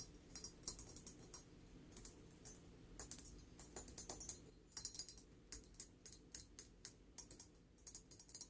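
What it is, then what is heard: Ceramic figurine tapped with nails. Long nails tap the glossy surface of a small, shiny gold-glazed ceramic elephant figurine held in both hands. The result is an irregular series of quick, bright, dry clicks that die away almost instantly, over a soft, steady low background.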